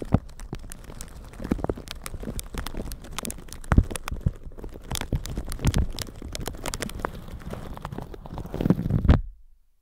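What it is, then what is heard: Plastic shower cap being brushed. A plastic shower cap stretched over a microphone is scratched and brushed with a flat red-bristle brush, producing dense crinkling and scratchy crackles over a heavy low rumble. Sharper clicks and swells stand out now and then before the sound cuts off just before the end.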